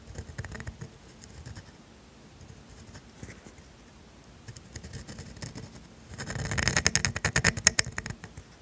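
A steel calligraphy dip pen nib scratches ink strokes across thin grid paper lying on a desk. Quiet, dry, bright scratches come in short irregular bursts, then grow denser and louder toward the end in a run of crisp, high-pitched strokes with no ring after each.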